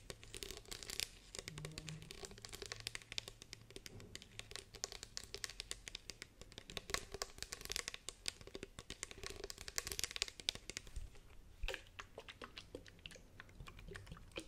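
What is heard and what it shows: A hand-sized, hollow green plastic spray bottle with a white-green trigger head, appearing to hold some liquid, is held in both hands. Long painted fingernails tap and scratch it, then tap along its body as it is tilted sideways. The result is a dense run of quick, bright clicks and crinkly scratching over a faint low hum.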